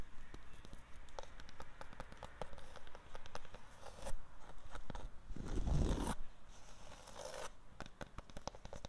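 Long black-painted fingernails and fingertips scratch and rub across a solid, rough white textured plaster or stucco wall outdoors. Quick dry scratches and clicks repeat steadily over a low rumble, with a louder, fuller rubbing swell near the middle before the light scratching resumes.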